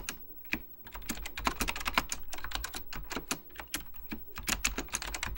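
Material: Plastic.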